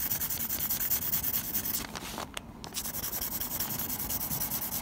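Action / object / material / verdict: scrape / graphite pencil on textured drawing paper / paper / none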